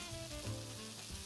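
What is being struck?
Nothing is struck.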